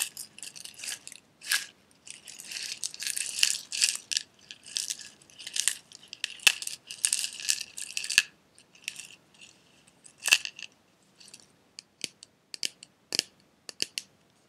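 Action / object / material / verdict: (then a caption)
tap / small glass jar with metal screw lid and loose pieces inside / glass / none. A small clear glass jar with a silver metal screw lid and loose red pieces inside is held in both hands and tapped with fingertips and nails. Bright, dry clicks and taps come in quick clusters, with a few sharper knocks and some rattling of the contents. Quieter, sparser taps follow toward the end.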